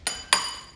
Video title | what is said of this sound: Top RC - Lightning V2 - 1.5m Sail Plane - Unbox, Build, Radio Setup & Maidens | you can hear it sounds like glass. Okay, hear that? That's a carbon fiber rod. If it was uh fiberglass, it would be more dull sounding.